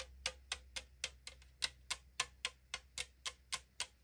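Long decorated nails tap rapidly on the side of a hollow 500 ml AriZona green tea aluminum can, giving 14 crisp, bright clicks at a steady pace of about three to four per second. Each tap is sharp with almost no ring, and a faint low hum runs underneath.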